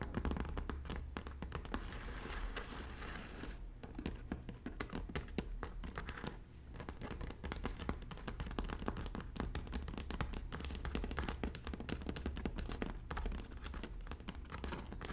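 Long natural fingernails tap and lightly scratch the woven surface of a medium-size red braided straw bag that seems hollow. The result is a quiet, steady stream of rapid, dry clicks and crinkly scratching with very short decays and a low, dull body. The texture eases briefly around six and a half seconds before resuming.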